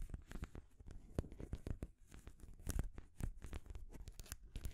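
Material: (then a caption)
Wood. Long grey nails scratch and tap the painted solid wooden rings of a wooden stacking ring toy, which sit on a wooden base with a ball top. The result is a quiet, steady run of short, dry taps and scratchy strokes, mostly low and dull with occasional bright clicks.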